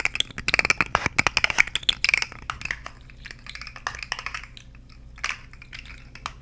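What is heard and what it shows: A purple and orange plastic articulated fidget slug with hollow jointed segments is held in both hands, its segments shaken and clicked while long nails tap along the ridges. Rapid, bright, dry clicks and taps crowd the first two and a half seconds, then thin out into softer, scattered clicking with a few sharper taps near the end.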